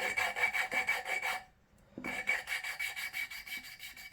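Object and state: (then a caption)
Valve seat not yet lapped in (scratching). A steel valve is lapped back and forth against its seat in a cylinder head, making a fast, bright, gritty scratching rasp in rapid strokes, with a brief pause midway before the strokes resume. The audible scratching shows the seat is not yet lapped in and still needs more lapping, which continues until nothing can be heard.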